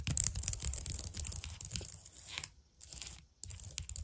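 Long dark-painted nails tap and type rapidly on a white plastic computer keyboard lit by colored lights. Dense, irregular clicky clatter with bright ticks and low thumps comes in quick bursts, broken by brief pauses near the middle before the tapping resumes.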